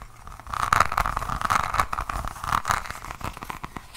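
Long nails scratch a diamond painting notebook with a resin rhinestone cover, first across the beaded cover and then along the spine and page edge. The result is a dense run of dry, crackly scratching and small clicks with a steady midrange rasp near 1.2 kHz, rising and falling in short bursts.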